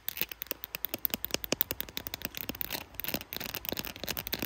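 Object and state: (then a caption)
Smartphone in plastic case. Long blue acrylic nails tap quickly and scratch across the back and camera bump of a handheld smartphone in a clear glitter plastic case. Sharp, bright clicks come in rapid succession at first, then blend into denser scratching with little low end.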